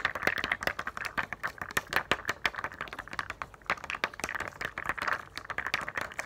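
Long nails tap and scratch quickly across a thin sheet of small raised plastic dome dot stickers held upright in both hands. The result is a rapid, dense run of crisp, clicky taps with a bright plastic edge and very short decay, mixed with faint scratchy rasps between the hits.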